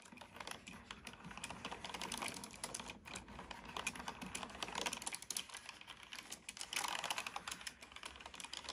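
Fingertips of one hand type steadily on a black plastic computer keyboard with hollow plastic keys. The result is a rapid, continuous run of light, bright clicks and taps that stop short, with a few louder bursts of keystrokes.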